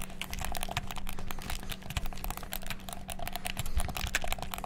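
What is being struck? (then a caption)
Plastic game controller buttons. Fingertips rapidly click the buttons of a black, hollow plastic gamepad, making a dense stream of short, sharp plastic clicks. A steady low hum runs underneath.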